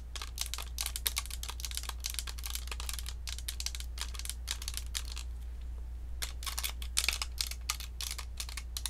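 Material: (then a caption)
Plastic. Long acrylic nails rapidly tap the body and metal mesh grille of a round, hollow white plastic Blue Snowball USB microphone held in both hands. The result is a steady stream of sharp, bright clicks that die away almost instantly, with a brief lull just before the sixth second. A constant low hum sits beneath the tapping throughout.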